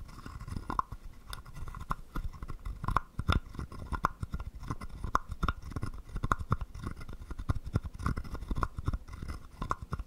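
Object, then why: Carved wooden frog guiro scraped with a stick. A wooden stick scrapes across the ridged back of a small, hollow, carved wooden frog guiro. The result is a quick run of dry, clicking rasps with a faint woody ring around 1 kHz over a low, soft rumble.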